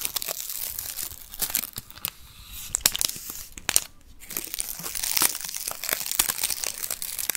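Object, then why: Onion with papery outer skin. Fingertips and nails rub and scratch the dry, papery skin of a whole, solid yellow onion held in both hands. The result is a bright, dense crinkling made of many quick, crisp scratches, with brief quieter gaps near the two- and four-second marks.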